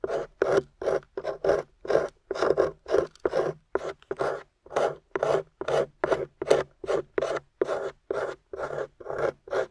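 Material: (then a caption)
Plaster. A metal pick scrapes and chips crumbly beige plaster off the end of a gold-painted plaster excavation bar. About thirty short, dry rasping strokes follow one another at an uneven pace, each a gritty burst centered in the midrange with little low end. The strokes stop abruptly with no ring.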